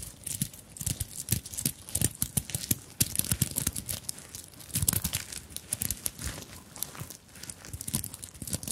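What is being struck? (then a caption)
Fabric handbag covered in sequins and beads. Long nails scratch and tap across a small, soft fabric handbag covered in sequins and beads, held up close to the microphones. The result is a dense run of bright, crinkly scratching and rustling, broken by quick, sharp taps with almost no ring, plus some low thumps from handling.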